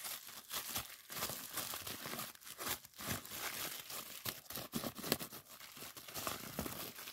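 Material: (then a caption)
Plastic. A clear plastic bubble wrap sheet with small air-filled bubbles is held and folded between fingertips, then squeezed and popped. Dense, bright crinkling and crackling runs throughout, with sharp little pops standing out above it.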